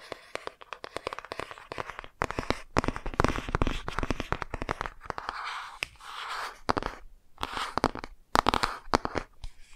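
Long nails tap and scratch the glossy front cover of a laminated cardboard board book held upright. Rapid, sharp, dry clicks come in dense bursts, broken by softer stretches of brushing scratch noise, with each tap cutting off almost at once.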